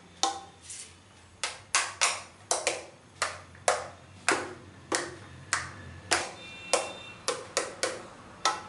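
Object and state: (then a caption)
Plastic facial steamer tapped. Fingertips and nails tap along the tubular arms and hollow body of a white plastic salon facial steamer. About 17 sharp, bright taps come at an uneven pace, each with a hollow plastic knock that dies away quickly.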